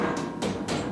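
A body panel on a RZR Pro XP UTV is tapped three times after its hardware was removed, foam strips were added and it was tightened back up. Each tap gives a dull, mid-pitched thud with a brief ring. The rattle is much reduced.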